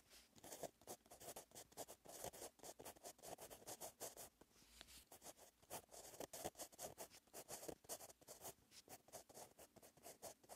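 A blue metallic gel pen with a metal tip, held in the fingertips, scratches out handwriting line by line on a lined paper notebook page. Rapid back-and-forth strokes make a quiet, dry, bright scratching hiss with a papery midrange, each stroke stopping short with almost no ring.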